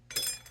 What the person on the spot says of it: sounds like metal but they're not